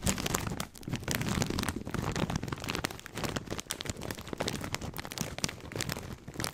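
A full plastic snack bag of corn rings is crinkled and squeezed by both hands beside the mic. It makes dense, continuous crackling and crunching, with a bright rustle over a steady low rumble. The sound swells and dips without pause for the whole clip.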